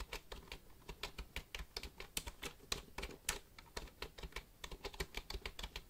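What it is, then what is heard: Plastic computer keyboard. Fingertips tap the keys of a black plastic computer keyboard held upright beside the mic, making about thirty quick, crisp clicks in an uneven typing rhythm. Each tap is a short, bright plastic click with a faint low thump underneath, dying away almost instantly between strokes.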